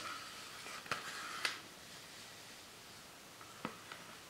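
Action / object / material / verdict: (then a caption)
scrape / thin plastic PET soda bottle / plastic / none. Fingers and nails scratch and squeeze an empty, hollow clear plastic PET Fanta soda bottle with a plastic label and a white cap. Soft crinkling of the thin plastic is broken by a few sharp, bright clicks and crackles, with quiet gaps between them.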